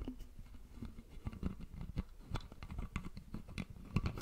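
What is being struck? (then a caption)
Plastic bottle with screw cap. Fingertips and nails tap and scratch the plastic screw cap and upper part of a red Prime-branded plastic drink bottle, hollow and apparently full, held close to the microphone. The result is a quiet, irregular patter of soft, dull, low taps with short, dry clicks and faint bright scratchy edges that die away almost instantly.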